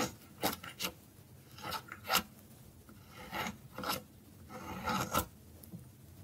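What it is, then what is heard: Dry soap bar being scraped. A metal blade scrapes and cuts slivers off a thin, solid, dry orange soap piece held by fingers. Seven dry, raspy scraping strokes sound out at an uneven pace, each a short bright rasp with no ring, with quiet pauses between them.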